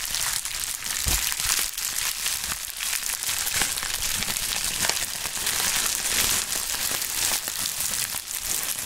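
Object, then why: Plastic bubble wrap sheet. A pink plastic bubble wrap sheet is stretched, crushed and crinkled by gloved hands. The result is a steady, dense, bright crackling with scattered sharp snaps throughout and very little low end.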